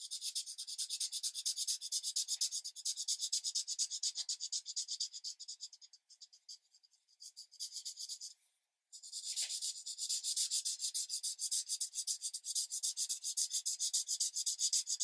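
A green felt-tip marker is rubbed back and forth across a thin paper coloring page lying flat on a light pad, filling in a tree area. It makes a quick, steady run of bright, dry scratching strokes at about four per second. The strokes thin out around the middle, stop briefly, then resume at full pace to the end.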